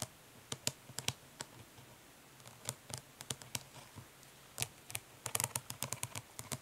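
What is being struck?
Plastic eyeshadow palette lid tapped with fingernails.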